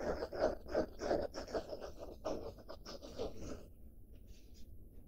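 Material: Denim.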